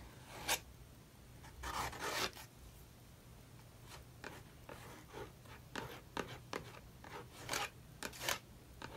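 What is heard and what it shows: A metal palette knife is dragged and scraped across a paint-covered page of an open paper sketchbook with wet acrylic paint, resting on a wooden table while a hand steadies the book, to rework an abandoned page. Short, bright, raspy scratching strokes come in irregular bursts over a quiet background, with a few longer smeared scrapes between them.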